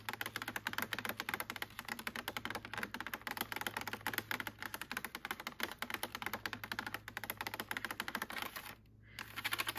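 Long painted nails tap and scratch on the lid and side of a clear plastic clamshell container full of strawberries, which is stacked on a blueberry container. Rapid, bright, crisp clicks and scratches run almost continuously, with a low steady hum underneath. There is a brief pause near the end before the tapping resumes.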